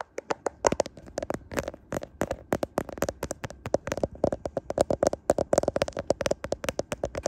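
Fingernails and fingertips tap on the camera bump and the back of the recording smartphone's clear plastic case. The result is a rapid, uneven run of sharp, dry clicks and taps that stop almost instantly. A faint tone sits around 400 to 500 Hz throughout.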